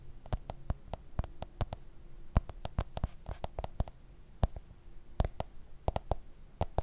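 A black smartphone in a plastic case is held sideways above the microphone and tapped repeatedly on its back with fingertips and nails. The result is a quick, irregular run of short, dry clicks and taps with a soft, low thud underneath and almost no ring after each one.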